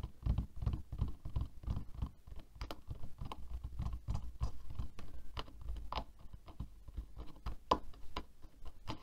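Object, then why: Plastic hairbrush. Nails and fingertips rapidly flick and tap the bristles of a black plastic hairbrush resting on a table. The result is a quick, uneven patter of soft, dull taps with crisp little clicks that stop dead, with no ring after each one.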